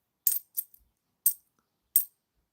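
A 2020 Shield bimetallic £2 coin is dropped and bounces with four short, bright, tinny clinks, each ringing only briefly and heard mostly at very high frequencies. The coin sounds unusually tinny and is judged not worth keeping.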